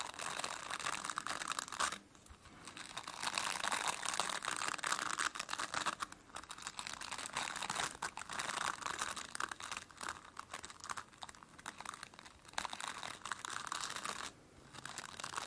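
Fingertips and nails scratch and rub the dense plastic bristles of a plastic brush, making a continuous, crackly, crinkling scratch with a bright hiss and almost no low end. The rubbing comes in bursts separated by short pauses of near-silence.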